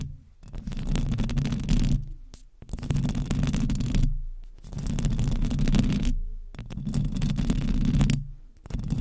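Long nails on both hands continuously scratch the hollow metal mesh head of a large silver condenser microphone. The result is a dense, heavy, low rumbling scrape with a faint gritty texture on top. It comes in four long swelling passages separated by brief near-silent dips.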